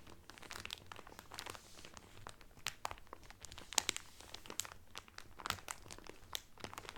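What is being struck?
Cellophane-wrapped cotton towel.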